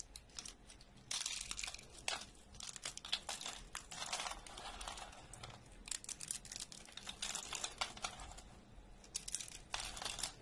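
Fingers snap and crumble thin, brittle slices and flakes of dry orange soap on a wooden table. Dense bursts of bright, crisp crackling and crunching come in waves, with sharp snaps that die away almost instantly and little low-end weight.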